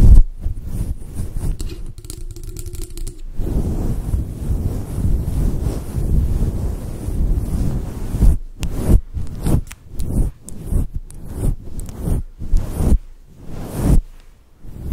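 Long nails scratch and brush a fluffy faux fur microphone windscreen made of synthetic fur. Heavy, muffled, low rumbling friction fills the first eight seconds, then breaks into short, choppy scratching strokes separated by brief gaps.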